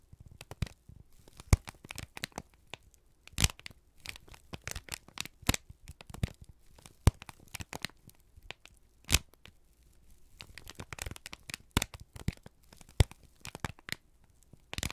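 A single thin, crumpled sheet of brown kraft paper is held in both hands and squeezed and crinkled with the fingertips and thumbs. Quick, dry crackles and crisp tearing-like crinkles come in irregular bursts, each snapping off almost instantly. The crackles reach from a low rustle up into bright highs, with a few louder pops standing out over a quiet background.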